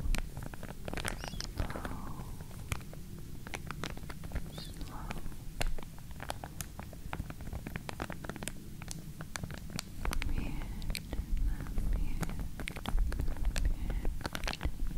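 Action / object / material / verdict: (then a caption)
scrape / plastic comb in a plastic sleeve / plastic / none. A pink wide-tooth plastic comb, still in its clear plastic sleeve, is held close beside the ear while long nails scratch across its teeth. This makes a steady stream of quick, sharp plastic ticks and faint crinkles over a low, dense rumble. The scratching grows a little louder and busier toward the end.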